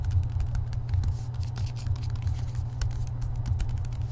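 A hardcover book with a paper dust jacket is held in both hands while fingertips quickly tap and scratch its edges and front cover. The result is a fast, steady stream of soft, dull taps and dry papery scratches over a heavy low rumble. Faint bright clicks rise above it.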